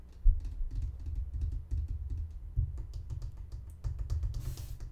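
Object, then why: Plastic pump bottle. A medium-sized green plastic lotion pump bottle, hollow and filled, is held in both hands and tapped and scratched with fingernails. A steady run of quick, soft tapping clicks with a dull, low thud beneath them, and a brief brighter scratchy burst near the end.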